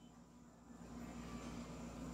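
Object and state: Nothing is struck.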